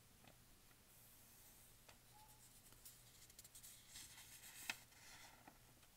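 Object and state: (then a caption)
Paper flyer being handled. A large folded newsprint store flyer lies on a patterned blanket while one hand flattens and folds its pages and the other brushes and traces along the paper with a small tool. Soft, bright papery rustles and scratchy brushing strokes are heard, punctuated by light crisp taps and one sharper snap near the end.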